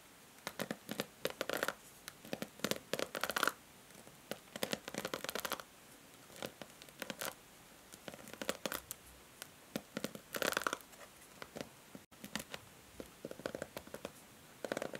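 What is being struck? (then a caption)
Plastic paddle hair brush with plastic bristles. Long nails scratch and strum the white plastic bristles of a handheld pink plastic paddle hair brush. The result is quiet, crackly bursts of dry scratching and ticking with short pauses between them. Each burst carries a faint plasticky tone near 1.4 kHz and a bright hiss, with almost no low end.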